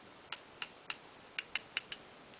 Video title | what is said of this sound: CHMS Chrome Gold Silver and Black Seekers Electrum Golden Lagoon Star Scream Transformers KOToys | it sounds a little bit different than when you tap plastic there's a little bit more of a ting to it